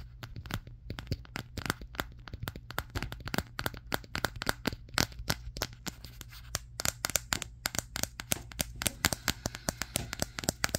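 A Samsung Galaxy S23 with a matte glass back is held in both hands and tapped on the back with fingertips and nails. Quick, dry, bright clicks and taps come in a steady stream of about 52 hits over eleven seconds, each dying away almost instantly, over a faint low hum.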